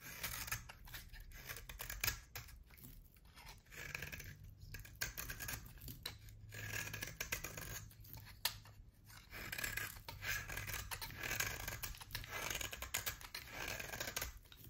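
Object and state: Bar soap being shaved.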